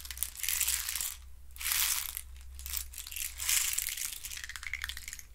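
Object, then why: Small hollow hexagonal box of thin wooden sticks. Fingertips and nails scratch and rub the walls of a hand-sized, hollow hexagonal box made of thin wooden sticks. The result is dry, bright, crackling rasps that swell and fade in repeated bursts over a steady low hum.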